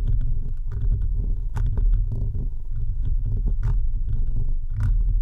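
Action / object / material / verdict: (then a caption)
scrape / metal mesh microphone grille / metal mesh / none. Fingertips and nails of both hands scratch the rounded metal mesh grille of an uncovered microphone, one hand at first partly wrapped around it. The sound is a steady, boomy, low rumbling scratch, with a few brief, brighter scraping flares standing out.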